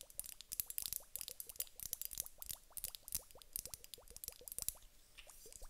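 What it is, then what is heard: Glass hourglass filled with water beads. Long nails tap a large clear glass hourglass filled with gel water beads, then the hourglass is tilted and turned so the beads shift inside. The result is a dense run of quick, bright clicks and ticks over soft, wet plops that rise slightly in pitch like small boings. The clicks vary in loudness and fade to a quieter patter near the end.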